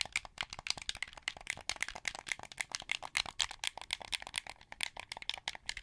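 Fingertips and nails press and click the buttons, triggers and thumbsticks of a hand-held, hollow, translucent blue plastic Xbox 360 wired controller. A rapid, continuous series of sharp, dry plastic clicks and rattles follows, bright and high with almost no low end. Each tap stops instantly, with a tone centered around 3.2 kHz.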